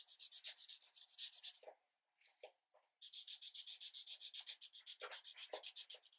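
A green marker tip is rubbed firmly back and forth over a thin paper coloring page resting on a light pad. It makes quick, bright, scratchy strokes about four per second, with a short lull holding only a few soft strokes before the steady scribbling resumes.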